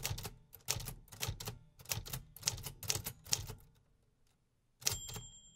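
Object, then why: Manual typewriter metal keys. Fingertips tap the metal keys of a vintage 1950s manual typewriter in a quick run of sharp, bright mechanical clacks with a thudding low body under each strike. After a brief pause near the end, a final pair of strikes leaves a thin, high ringing tone hanging.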